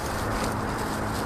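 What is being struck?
Nothing is struck.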